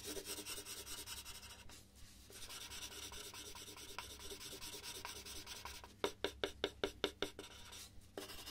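A red colored pencil shades letters on a large white paper sheet resting on a wooden desk, making steady, bright scratchy rubbing strokes. Near the end the shading turns into a run of seven quick, distinct strokes before the rubbing resumes.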